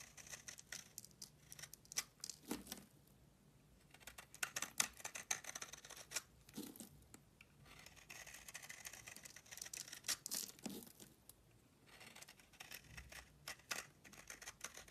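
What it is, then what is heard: Bar soap being shaved. A solid beige bar of soap held in the hand is scraped and shaved into flakes with a metal utility blade. Quiet, dry, crisp scraping strokes come in dense bursts with short pauses between them, and their high, bright hiss carries little low end.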